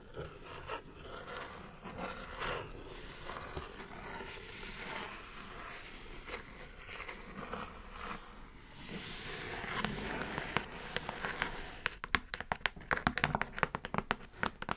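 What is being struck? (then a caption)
Kraft cardboard mailer box. Long nails scratch across a hollow brown kraft cardboard mailer box with a dry, papery rasp for about twelve seconds. Then several nails tap the box in quick, crisp, hollow clicks that die away almost instantly.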